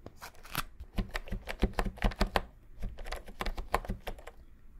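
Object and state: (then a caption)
Plastic keyboard keys. Fingertips press and tap the round typewriter-style plastic keycaps of a pink and cream wireless keyboard held upright beside the microphone. The result is a quick, irregular run of short, dry clicks that stop almost instantly. Each tap has a bright clack over a dull low thud.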